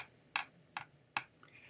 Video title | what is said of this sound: Mini Sets Tuesday "1998 & 1999 Topps Stars 'N Steel" + More Maybe | they're actually made out of thin plates of steel